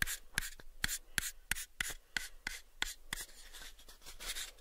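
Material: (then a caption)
Wood. Fingertips and nails tap and scratch a pale, unfinished, hollow wooden box held in both hands. About twelve sharp, dry taps with a bright click around 1.6 kHz die away almost instantly, spaced by soft scratching that becomes a steady rasping rub toward the end.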